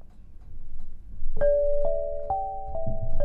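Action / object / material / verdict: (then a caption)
strike / granite lithophone bars struck with soft mallets / granite / none. An 8-bar lithophone of solid black granite slabs on a low frame, tuned to 432 Hz, is struck with two soft-headed mallets to play a short melody. After a quiet low rumble, clear pitched tones around 580 Hz ring out one after another and sustain, layering into an overlapping, bell-like chord.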